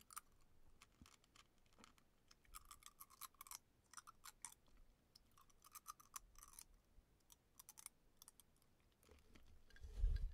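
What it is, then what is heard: Glass mug of ice water, tapped with fingernails. Fingertips and painted nails tap on the outside of a clear frosted glass beer mug with a handle, filled with ice and sparkling water and held in both hands. Quick, light, bright clicks come in irregular clusters over a faint low background. Near the end, a louder low rumble of handling noise rises.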